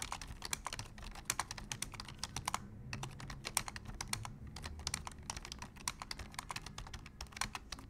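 Both hands type with their fingertips on a black plastic full-size computer keyboard, producing a steady, rapid run of sharp, bright key clicks. The clicks pause briefly a few times over a low background rumble.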